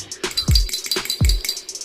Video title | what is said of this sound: Gas bocor apa yang harus dilakukan??????? | saya kocok ini kedengar suara bola besi di dalamnya